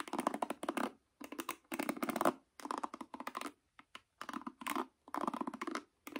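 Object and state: Nylon-pin paddle hairbrush being scratched.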